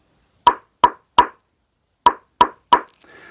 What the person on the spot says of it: it has that pop sound from the third gen paddle